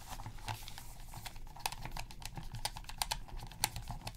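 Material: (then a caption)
Plastic. Gloved hands press the buttons of a black, hollow plastic PS3 controller resting on black fabric while a cotton swab scrubs the gaps around the buttons. The result is a quiet stream of short, dry click-like taps with bright edges, with several sharper clicks standing out. Soft scrubbing and a low background hum run underneath.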